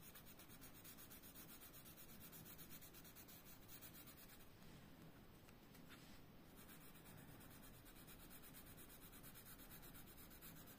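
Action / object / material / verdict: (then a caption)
scrape / colored pencil on a thin paper page / paper / none. A blue colored pencil is rubbed back and forth across a thin paper coloring book page lying flat on a desk, shading Donald Duck's hat, with the tip staying on the paper. A quiet, steady, continuous scratchy rubbing is heard, easing briefly and sounding slightly softer in the middle before carrying on evenly to the end.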